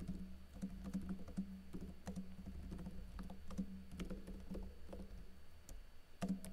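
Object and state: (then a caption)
Plastic laptop keyboard being typed on. Fingertips with short blue-painted nails type rapidly on a plastic backlit laptop keyboard with plastic keycaps and a teal backlight. Quick, soft, clicky taps come in a steady stream over a constant low hum.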